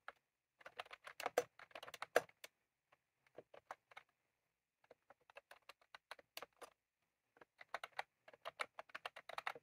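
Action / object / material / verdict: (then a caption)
tap / plastic computer keyboard with round keycaps / plastic / none. Fingertips of both hands type on a white/cream plastic retro computer keyboard with round typewriter-style keycaps resting on a desk. Bursts of quick, dry, clicky keystrokes come in irregular runs, separated by brief pauses. Each click is crisp and bright and dies away almost instantly.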